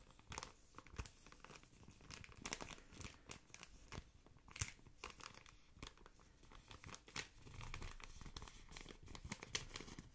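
A thin, yellow-patterned plastic ice cream wrapper is held close and crinkled with the fingertips. The result is a quiet stream of dense, bright crackles and crinkles with sharp pops scattered throughout, over a soft low rustle.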